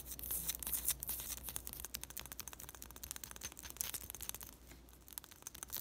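A round, fist-sized, solid white bath bomb in thin glossy plastic shrink wrap with a label is held in both hands and scratched and tapped with long pastel nails. Rapid, irregular crinkly taps and scratches sound bright and crisp against a faint low steady hum, each hit dying away almost instantly.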